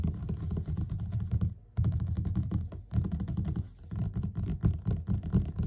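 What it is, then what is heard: Paperback book cover. Both hands tap rapidly with the fingertips on the cover of a yellow paperback book lying flat and solid. The result is a dense run of soft, dull, low thuds with almost no ring, broken by brief pauses before the tapping resumes.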